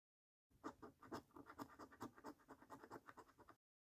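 A coin held in the fingers scratches the coating off a thin paper £1 Million Snack Stack National Lottery scratch card resting on a dark table, first over the game numbers and then over the order numbers. About 17 quick, rasping scrape strokes follow one another in an uneven rhythm. The strokes are quiet and dry with a papery mid-range tone centred around 300 Hz and 1 kHz and almost no ring after each stroke.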